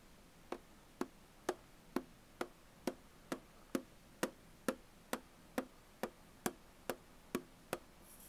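Fingernails tap and scratch the printed surface of a Tully's aluminum coffee bottle can lying on its side. Seventeen short, crisp ticks come at a steady pace of about two per second, each with a light metallic ping near 520 Hz that dies away almost at once over a quiet background.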